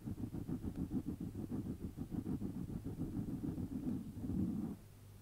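Fingertips with short nails rub and scratch the surface of a round, hollow, soft black foam windscreen over a microphone, using both hands. A dense, muffled run of soft scratchy rustles pulses rapidly in low, close tones for nearly five seconds. It then stops abruptly, leaving only a faint low hum.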